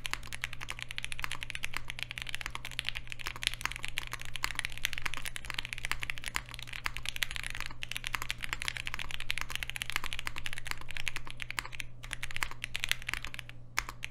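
A Polaris 60% mechanical keyboard with Alpaca switches, a green aluminium case, black plastic keycaps and an FR4 plate, resting on a desk mat, is typed on continuously and rapidly with the fingertips of both hands. The result is a dense stream of short, crisp, bright clicks and clacks that die away almost instantly, over a steady low hum.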